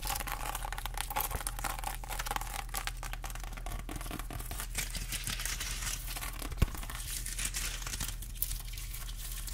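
Long acrylic nails scratch the scaly rind of a whole fresh pineapple held upright, producing a dense, continuous crackling and crinkling rasp with bright highs. A steady low hum runs underneath, and one sharper click stands out near the end.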